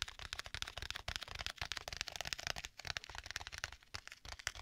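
Fingertips tap and scratch a flat black stitched leather folio tablet case with a strap, held in both hands. The result is a quick, dense run of short, dry taps mixed with bright, crackly scratching on the leather, with each tap dying away almost instantly.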